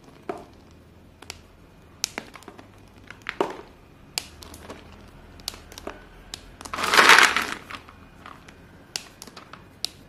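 Chalk-dusted hands squeeze and grind small, solid white chalk pieces between palms and fingers above a pile of white chalk. Scattered sharp, bright cracks and crunches punctuate a quiet background, and a louder, longer grinding crunch swells near the seventh second as the chalk is crushed.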